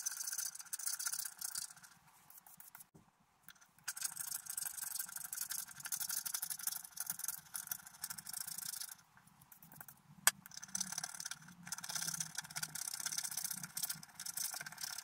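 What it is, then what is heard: Scratch art paper being scratched. A wooden stylus scratches across a pink patterned scratch art paper sheet held steady by the other hand, with a brush lying aside. The sound is a bright, dry, hissing scrape in repeated bursts, pausing briefly around 3 seconds and again near 9 seconds, with one sharp click just after 10 seconds before the scratching resumes.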